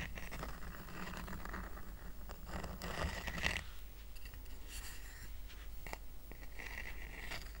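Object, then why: Woven rattan coaster. Short nails scratch across the weave of a small, round, flat woven rattan coaster, making a steady, dry, rasping scrape over a constant low hum. The scratching peaks briefly around the middle, then continues with bright crackling strokes as the coaster is tilted up at the end.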